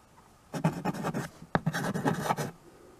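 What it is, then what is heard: Chalk writing on a chalkboard. A white chalk stick writes and scratches across a small wood-framed chalkboard, a solid flat board. Two bursts of gritty, rhythmic scraping strokes are heard, separated by a brief pause and a sharp tap of the chalk against the board.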